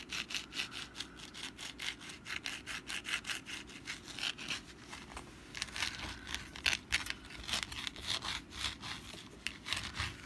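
Long black nails scratch the textured surface of a hand-sized, rust-brown papier-mâché pumpkin decoration, first held in the hand and then placed on a mat. The result is a steady run of quick, bright, raspy scrapes, with louder, sharper strokes in the second half.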